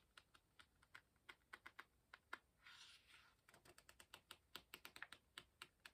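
Fingertips lift and flick the paper page corners of an open hardcover book, crinkling the paper. About 27 quiet, sharp, bright ticks snap out in quick succession, broken midway by a soft, airy rustle of the page. The flicking then resumes at a faster pace.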